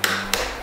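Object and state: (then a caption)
Watermelon tapped. A watermelon is tapped to judge its ripeness, giving two sharp taps with a short, hollow-sounding ring after each. No verdict is given for this tap.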